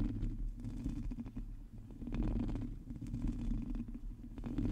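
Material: Metal mesh.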